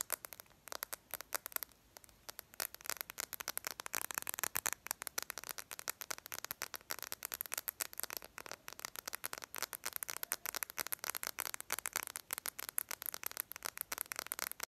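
Long lavender acrylic nails tap quickly and aggressively on the glass screen of a handheld smartphone in a yellow-green edged case, held upright and then sideways. Dozens of sharp, dry, bright clicks come in rapid, uneven bursts with almost no low end and no ring after each tap.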